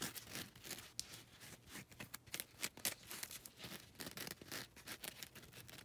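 Long red nails scratch across the gritty surface of a foam nail buffer block that has a lilac grit side and a grey grit side. Quiet, bright, rasping scrapes come in quick irregular strokes with sharp scratchy accents, and there is very little low end.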